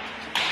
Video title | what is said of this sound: 俄羅斯哈薩克斯坦遇創紀錄洪水！甘肅隴南遭遇冰雹襲擊！福建小區地下車庫樑柱懸空！山東男收入低 一天僅吃一頓飯！武漢再爆疫情？ 醫院爆滿 當局疾控稱流腦進入高發期 ！#網絡視頻 - #大紀元新聞網 | 那个柱子敲起来也是空鼓的声音啊